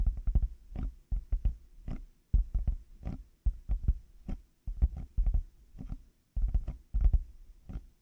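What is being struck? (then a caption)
Plastic over-ear headphone earcups. Fingertips and nails tap the outer shells of black plastic hollow headphone earcups fitted on a 3Dio binaural mic. Quick clusters of dull, hollow, low-pitched taps patter in irregular bursts with brief pauses. Each tap dies away almost instantly.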